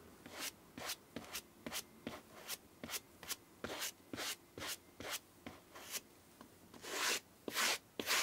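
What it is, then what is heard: Suede sneaker being brushed. A white bristle brush is rubbed back and forth over the black suede upper of a Lanvin sneaker with metal eyelets and a white sole. About seventeen quick, dry, bright scratching strokes sound in an uneven rhythm, with almost no low end. The last few strokes are longer and louder.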